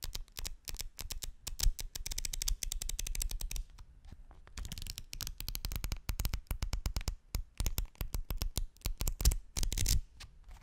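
Fingertips flick and rub through the layers of a bundle of thin folded white paper sheets held close to the microphone, making quick rustling strokes. Dense bursts of crisp, bright crackle ride over soft low thumps. The bursts pause briefly near four seconds, then resume in rapid runs and taper to quieter brushing at the end.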